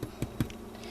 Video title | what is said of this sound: Honey Wheat Bread | it sounds hollow when you tap it